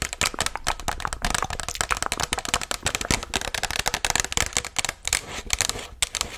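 Long nails tap and scratch the side and rim area of a hollow white Chipotle paper cup held upright. The result is a rapid, steady run of crisp, bright, papery clicks mixed with dry scratching. Each hit dies away almost instantly, leaving little low end.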